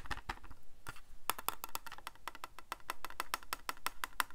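Fingertips and nails tap on the back of a small, hollow white plastic Casio scientific calculator. A quick, uneven series of short, dry clicks and knocks follows, with a hollow ring around 1 kHz and brief bright ticks. Each tap dies away almost instantly.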